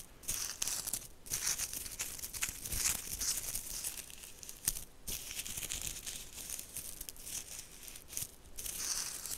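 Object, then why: Round woven straw bag. Long nails scratch along the woven surface and braided strap of a round tan woven straw bag held close to the mic. The result is a continuous, dry, crinkly rasp that is bright and hissy and rises and falls in quick uneven bursts.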